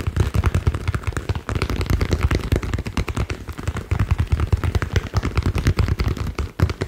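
A green ball is tapped rapidly and unevenly, making a dense stream of short, dull, low thumps with brief bright clicks on top. Each tap dies away almost instantly, and the tapping runs continuously throughout.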